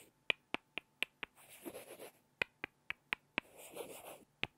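Two small, solid light-wood blocks are knocked together face to face by hand, producing 11 sharp, bright clacks with almost no ring, centered around 2.4 kHz. They come in a quick run of five, then five, then a single clack. Between the runs are two stretches of soft, hissy scraping noise.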